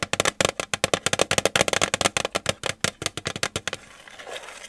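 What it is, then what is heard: Metal tin. A metal tin is tapped with the fingers in a quick, uneven run of more than twenty short, dry taps, each a bright click with a faint metallic tone around 540 Hz that dies away almost at once. The tapping stops near the 4-second mark, leaving only a soft, low rustle.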